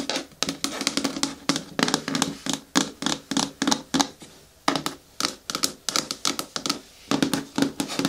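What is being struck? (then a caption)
Hard plastic bucket with lid. Long natural nails tap rapidly on a hard plastic bin or bucket with a lid, producing a steady run of dry, bright clicks with a faint hollow plastic tone and almost no ring. The taps come in quick bursts, with a brief pause near the middle before they resume.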